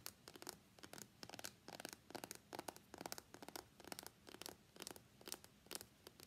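Fingertips and nails tap and scratch the top and sides of a small, hollow, closed white cardboard iPhone X box held on a mat. The result is a quiet run of quick, dry, bright taps and scratchy bursts in uneven clusters, each dying away almost at once.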